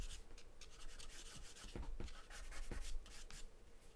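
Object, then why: Graphite pencil on a paper drawing sheet. A graphite or charcoal pencil, held in the hand, scribbles and shades across a large white sheet of paper taped flat to a dark surface. The clip is a steady, dry scratching rasp with bright, hissy strokes and a few soft low taps as the pencil hits the paper. The sound stays quiet and even throughout.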